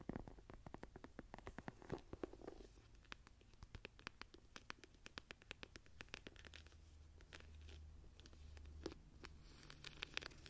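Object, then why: Embossed leather journal cover. Long nails scratch the textured, tree-embossed cover of a leather journal held up at an angle. A rapid series of short, dry, crackly scrapes runs throughout, bright on top and sitting over a soft low rumble.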